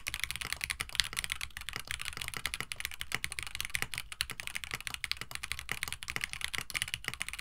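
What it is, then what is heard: Mechanical keyboard, plastic keycaps and FR4 plate. Both hands type continuously with their fingertips on a compact 65% KBD67 Lite mechanical keyboard with Gateron CJ switches, an FR4 plate, blue and white PBT keycaps and a hollow white plastic case resting on a desk mat. A rapid, steady stream of short, bright plastic clacks and taps rings out, each dying away almost instantly, with a faint low thock beneath.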